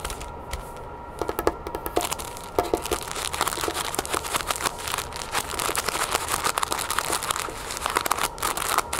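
Long painted nails scratch and tap the clear plastic sleeve sealing a flat cloth headband, which lies on a wooden table. The result is a dense stream of quick, bright crinkling taps and scratchy rustles over a soft hiss, with each tap dying away almost instantly.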